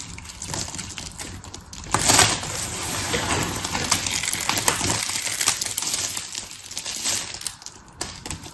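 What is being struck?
Dry soap shavings.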